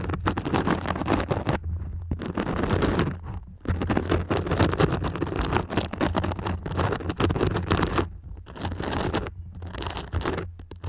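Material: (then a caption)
Foam. Long pink nails scratch up and down the textured glitter surface of a purple glitter foam cone held upright in both hands. The result is dense, rough scratching in long bursts, broken by a few brief pauses, over a steady low rumble.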